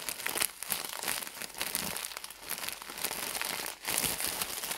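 A full, soft rectangular pack of hygiene pads wrapped in thin printed plastic film is squeezed and crumpled with the fingertips of both hands. It makes a dense, bright crinkling and crackling with almost no low end, steady throughout apart from a brief dip just before the last second.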